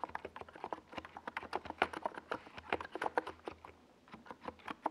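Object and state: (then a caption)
Plastic mechanical keyboard. Fingertips of both hands type fast on a compact NiZ Plum Atom 68 keyboard with a white plastic case and purple and yellow Domikey Gas Attack SA plastic keycaps, resting on a desk pad. A rapid, uneven stream of short, hollow plastic clacks centres around 770 Hz, with occasional louder strikes and brief pauses, and each keystroke dies away almost instantly. A faint low hum runs underneath.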